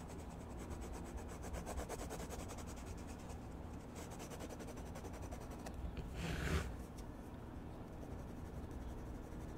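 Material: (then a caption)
Paper. A red colored pencil rubs and scratches across a page of a spiral-bound paper sketchbook lying flat, shading a mushroom stem while staying on the same page throughout. The result is a steady, soft, rasping scratch over a low rumble, with a brief, brighter, louder swell of strokes near the end before it settles back to quiet shading.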